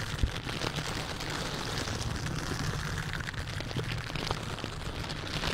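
A silicone bristle dish glove worn on the hand scratches and rubs the hollow metal mesh grille of a large white condenser microphone in repeated scratching strokes. The result is a dense, continuous scratchy rustle with a heavy low rumble underneath and bright crackling detail on top, holding a steady level throughout.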